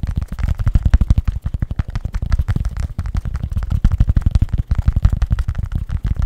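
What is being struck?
Fabric baseball cap.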